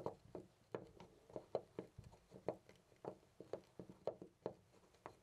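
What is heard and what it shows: A loose, brass-colored metal door knob is gripped with the fingertips and rattled quickly, producing about 19 dry clacking knocks centered around 540 Hz. Each knock is short with almost no ring.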